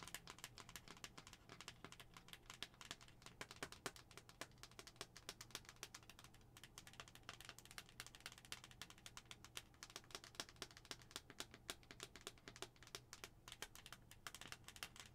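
Long acrylic nails rapidly tap the face of a hollow white plastic skull-shaped cup held up close. The result is a quiet, continuous stream of crisp, bright clicks, each dying away almost instantly, with a hollow plastic tone underneath and a faint steady low hum throughout.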